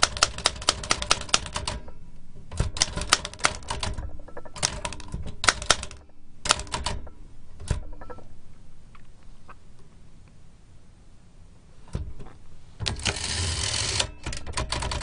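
Fingertips tap the round keys of a large black metal L.C. Smith & Corona antique typewriter with a hollow mechanical body and paper loaded, giving quick bursts of sharp, bright clacks with low thumps. Pauses separate the bursts. Near the end a hand reaches to the carriage, and a brief rushing, scraping sound is followed by a few final key strikes.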